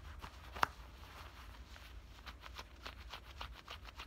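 Fingernails scratch along the front pocket opening and stitching of worn black denim high-waist shorts. The result is a quiet series of soft, papery scratches with one sharper click early on, over a faint low hum.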